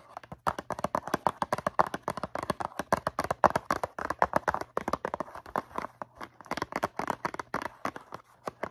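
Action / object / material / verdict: tap / cardboard cotton swab box / cardboard / none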